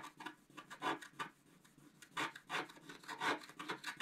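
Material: Coated paper.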